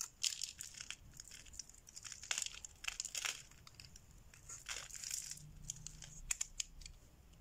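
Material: Soap.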